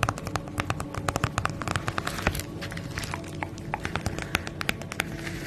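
Long nails tap and scratch across the surface of a flat holographic padded plastic bubble mailer bag held close in front of the microphone. Quick, sharp crinkly clicks with bright crackle ring out over a steady low rustle and rumble, each tap dying away almost instantly.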